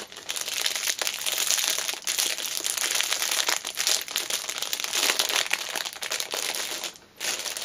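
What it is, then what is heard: Cellophane-wrapped fabric pouch. A small black fabric pouch wrapped in clear cellophane is held upright while long nails squeeze, scratch and pull at the loose wrapper. The result is a dense, continuous bright crinkling and crackling with almost no low end. It dips briefly quiet just before the seventh second, then resumes.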